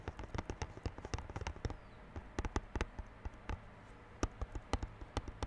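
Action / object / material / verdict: tap / plastic-wrapped cardboard box / cardboard / none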